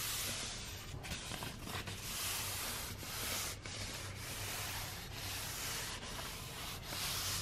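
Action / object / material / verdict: scrape / roll of kraft wrapping paper / paper / none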